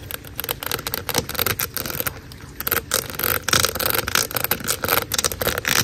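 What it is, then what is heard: Corrugated plastic drain hose. A large, hollow black corrugated plastic drain hose lies outdoors while long acrylic nails scratch and tap along its ridges. The result is a dense run of bright, crackly scrapes and quick ticks with a ringing plastic tone, and rain may be faintly heard behind it.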